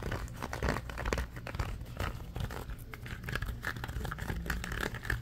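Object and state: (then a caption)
Silicone trivet mat. A red ribbed silicone trivet mat is held up and bent in the hands while fingernails scratch and squeeze its ridged surface. The result is a dense, fast run of crinkly, rubbery scratching with a heavy low rumble and quick bright streaks, continuing without a break.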